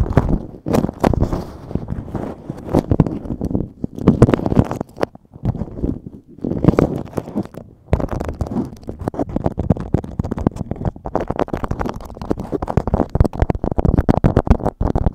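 Fingers scratch and crinkle a thin, stiff yellow beeswax-coated cotton food wrap draped over a microphone. The result is dense, rapid crackling and rustling with a heavy low, muffled body, broken by brief quieter gaps around the middle before the scratching picks up again and continues steadily to the end.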